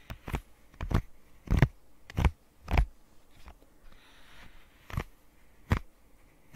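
Long nails tap and scratch a rainbow square silicone pop-it fidget toy with hollow bubbles. Short, dull, low thuds come at an uneven pace, and a faint, soft scratching fills the quiet stretch between taps.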